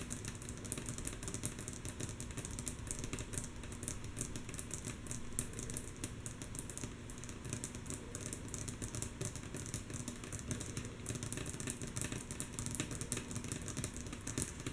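Long natural nails of both hands tap rhythmically on a flat, solid, light wooden tabletop, mostly softly. A steady, dense stream of quick, dry clicks with bright high ticks sits over a low, constant rumble, and each tap dies away almost at once.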